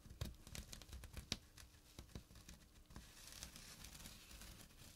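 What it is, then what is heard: Burlap drawstring pouch scratched. Fingertips and short nails scratch the coarse weave of a small, flat jute burlap drawstring pouch lying on a surface. Dry, rough rasping with crisp, short ticks and a few sharper snaps fills the start. It settles into a quieter, steady, bright hiss of scratching toward the end.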